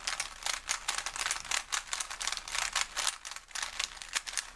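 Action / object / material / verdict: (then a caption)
scrape / plastic puzzle cube / plastic / none. A small plastic Rubik's cube with colored stickers is held in both hands while fingertips twist and turn its layers. It makes a dense run of quick, bright, rattling clicks with almost no low end, each dying away almost instantly.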